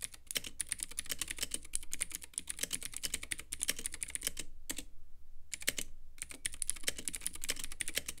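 A Womier K66 compact mechanical keyboard with Gateron Blue switches, white plastic keycaps and a clear RGB acrylic case is typed on steadily with fingertips. Rapid, sharp, bright clicks sit over a low rumble, with two brief pauses near the middle.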